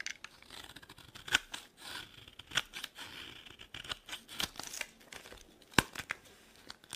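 The remaining piece of a dry green soap bar is carved with a metal blade and handled in the fingers. Soft, bright scraping and crumbling runs throughout, broken by several sharper, crisp cutting snaps that stop instantly with no ring.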